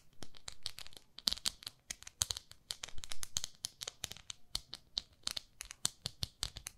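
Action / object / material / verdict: scrape / silicone cleansing pad / silicone / none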